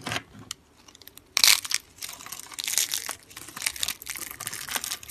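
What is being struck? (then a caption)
Layered soap bar. A yellow, palm-sized bar of dry soap shaved into thin stacked layers sits on a wooden table beside rolled coils of the same soap, and fingertips pinch and crush the layer edges so brittle flakes break off and fall. The sound is a run of dry, bright crunches and crackles, with a sharp burst near the start and quick, short-ringing snaps throughout.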